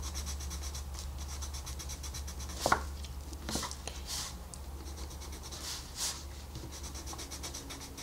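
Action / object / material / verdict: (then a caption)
scrape / wooden colored pencil on a paper page / paper / none. A wooden colored pencil shades a flat paper coloring book page resting on a desk with quick strokes. It makes a soft, steady scratching with bright papery hiss over a low constant hum, with a sharper tap near the three-second mark and a few louder strokes after it.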